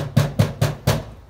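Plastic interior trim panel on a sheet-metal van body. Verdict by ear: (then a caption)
Loose. Four taps on the lower plastic interior trim of a 2012 Hyundai iLoad van give short, hollow, low knocks with a brief buzzy rattle. The trim is loose: there is tolerance between the sheet metal and the clips, so it rattles around when driving.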